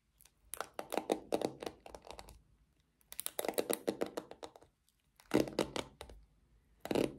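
Long nails scratch across the black pins and handle of a small pink plastic paddle hairbrush, making rapid, dry, clicking scrapes. The scratching comes in four bursts separated by short silences.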